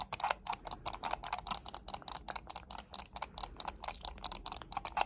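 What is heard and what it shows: A black plastic computer mouse is clicked and tapped with long nails in a quick, steady run of about two dozen crisp, dry clicks. Each click is short with a bright edge and a midrange tone around 820 Hz, dying away almost instantly.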